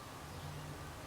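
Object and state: Nothing is struck.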